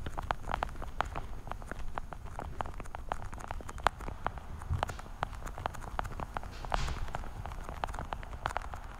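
Long dark-painted nails tap quickly on the top lids of a small, hollow, translucent blue plastic weekly vitamin case held in both hands. The result is a fast, steady stream of short, crisp plastic clicks centered around 800 Hz, with occasional louder taps over a low background rumble.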